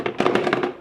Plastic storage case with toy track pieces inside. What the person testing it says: it sounds pretty snug like the launcher is moving but other than that like nothing is really moving around